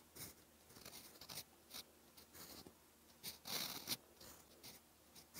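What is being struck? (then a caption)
Steel fountain pen nib on a paper notebook page. A steel fountain pen nib held in the fingers writes in orange ink across a flat, cream lined notebook page. Dry, bright scratching comes in short irregular strokes and bursts, with the longest stretch near the middle. Pauses of quiet fall between the strokes.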